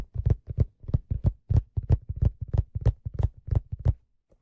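Fingertips tap the hollow leather crown of a black leather fedora hat. The result is a quick, slightly uneven run of soft, dull, low thumps, about three per second, each dying away almost at once. The taps stop near the end, leaving a couple of faint touches.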